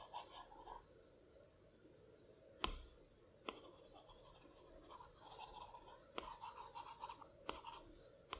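A plastic Apple Pencil tip taps the flat glass screen of a large iPad Pro resting on a plaid cloth, hitting the adjustment sliders and menu icons. Four sharp, short clicks stand out, with soft, bright scratchy strokes and quieter taps between them at a low, steady level.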